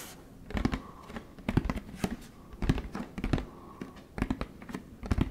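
Fingertips tap the plastic body of a large orange plastic Tide jug held in the hand. The taps come in quick clusters of short, dull, hollow thuds with a low, muffled body. Each tap dies away almost at once, with soft pauses between the bursts.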